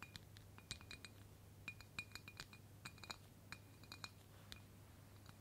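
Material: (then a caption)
Glass. A clear embossed glass mason jar, mostly filled with pink confetti, is held in one hand and tapped on its side with long pointed black fake claw nails worn on the fingertips. A quick, irregular run of light, bright clinks rings briefly around 2.4 kHz and dies away almost instantly. A steady low hum sits underneath throughout.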